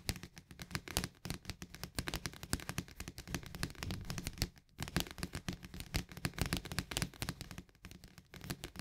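Fingernails tap rapidly on the rim and flat top of a green plastic snap lid on a paperboard barley canister. The result is a dense stream of quick, short clicks with a hollow, low body and bright ticks, with a brief pause near the middle.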